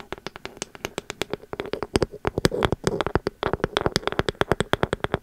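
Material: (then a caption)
Ceramic. A pink ceramic candle vessel with a bamboo lid is tapped on its body and lid with long metal nail caps. A rapid, irregular stream of short, dry clicks follows, each dying away almost instantly. The clicks are backed by a faint hollow tone around 360 Hz.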